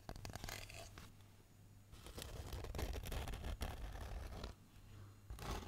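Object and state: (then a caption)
Black foam packing insert. Fingernails scratch and rub a hand-sized block of black polyethylene foam packaging insert with cutouts. Bursts of dry, crackly scratching come in clusters, with quieter stretches in between, over a low steady hum.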